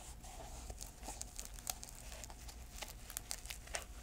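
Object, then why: Canvas velcro shoe. Long nails scratch and tap the canvas upper and insole of an empty grey canvas velcro shoe held in the hands. Soft, dry crinkly scratching is broken by sharp, bright little taps that die away at once. A faint steady tone and a low rumble sit underneath.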